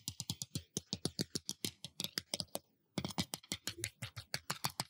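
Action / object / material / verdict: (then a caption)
tap / glass surface / glass / none. A glass surface is tapped with a fingertip or nail in a rapid run of about 30 short, bright clicks, each with a soft low thump beneath it. The taps stop ringing almost at once, and there is a brief pause just before the three-second mark before the tapping resumes.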